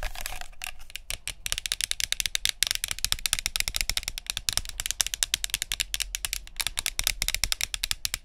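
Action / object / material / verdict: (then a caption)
tap / plastic spray bottle / plastic / none. Long nails tap quickly on the green plastic cap and plastic body of a body mist spray bottle. After a brief bright rush at the start, dozens of sharp, dry, high-pitched clicks follow in a rapid, uneven stream. Each click stops instantly with no ring and little low end.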